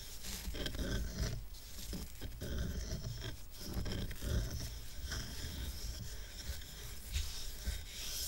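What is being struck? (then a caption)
Stack of rough solid wooden coasters. Fingertips and nails scratch the top and side of a small square stack of dark, rough, solid wooden coasters tied with red-and-white twine. The result is a steady, rasping scrape with a low, dull body and a faint bright hiss, rising and falling in short strokes without a clear pause.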